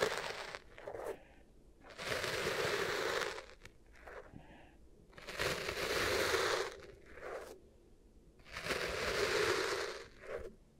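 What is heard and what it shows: Long nails scratch lines into and press down on beige kinetic sand in two small bowls with microphones set in the middle. Three long, bright, crunchy scraping passes alternate with shorter, softer presses and crackles. The sand gives a gritty crunch centered in the low mids, with quiet pauses between strokes.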